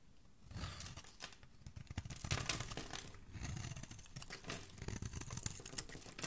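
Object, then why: Bar of soap scraped with a metal blade. A metal blade scrapes and carves shavings off the edge of a solid, rectangular, palm-sized pink bar of soap with an embossed logo, held in one hand. Dense, crisp scraping and crunching sounds come in uneven bursts for about six seconds. A bright, papery top sits over a soft, low body.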